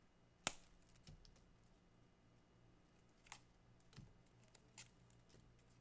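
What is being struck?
Thin green palm leaflets.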